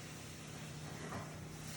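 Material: Nothing is struck.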